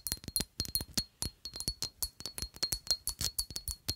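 Long acrylic nails tap a palm-sized, rectangular black glass perfume bottle with a square cap in a quick, uneven rhythm. Twenty-three bright, clinking taps each carry a short, high glassy ring that dies away almost at once. Faint low thumps sit beneath them.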